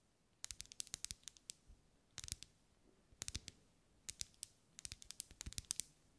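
Long light-grey nails tap the sides of a lit, solid, medium-sized pink ribbed wax pillar candle held in one hand. The taps come in quick clusters of sharp, bright clicks with almost no ring, separated by short pauses in a quiet space.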